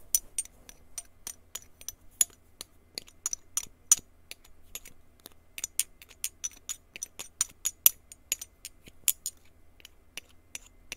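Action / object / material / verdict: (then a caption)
tap / small glass jar tapped with a plastic stick / glass / none. A small, clear, hollow glass jar, empty and uncapped, is handled with the fingers and then tapped and scraped along its side with a blue plastic stick. Quiet, sharp, bright clinks and ticks follow one another in an irregular stream, each dying away almost instantly, with faint scraping between them.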